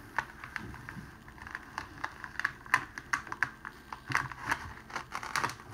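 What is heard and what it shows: A thin strip of clear cellophane wrapping sheet lying on a table is folded with both hands and pressed down with the fingers. It gives a steady run of sharp, dry crinkles and crackles. The crackles are centred in the midrange around 1 kHz, with bright, quick-fading snaps over a quiet background.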